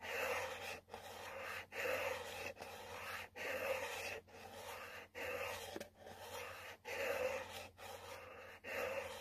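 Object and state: Cardboard box being scratched.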